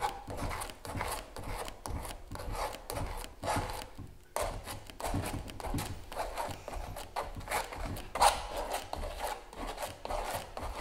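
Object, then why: Stretched canvas print worked with a metal palette knife. A palette knife scrapes and spreads white gel across a large stretched canvas giclee print resting on a table. The result is a steady run of short, dry scraping strokes with a mid-range rasp, pausing briefly around four seconds before continuing.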